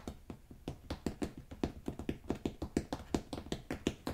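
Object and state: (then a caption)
Rolled carpet tapped. Fingertips tap the pile of a rolled beige carpet, then scratch the woven backing on its underside. The result is a steady run of soft, muffled, quickly damped taps with a low, dull body and a bright scratchy edge.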